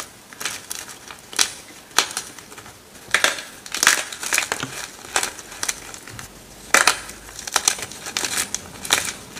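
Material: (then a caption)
Magnesium carbonate. Fingertips with long red nails break and crush fresh, solid, dry pieces of white gym chalk block (magnesium carbonate) over a pile of chunks and powder. The result is a run of sharp, bright, dry crunches and crumbling crackles with very little low end, each snap dying away almost instantly.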